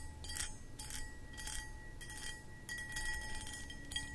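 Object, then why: Cut crystal glass pedestal bowl. Long acrylic nails scratch the textured sides of a medium, hollow, empty cut crystal footed pedestal bowl. The result is a series of bright, high scraping bursts, with faint steady ringing tones and a low background rumble underneath.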